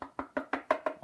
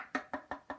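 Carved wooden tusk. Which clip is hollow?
The first.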